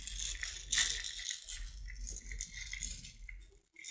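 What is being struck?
Small jar filled with tiny beads.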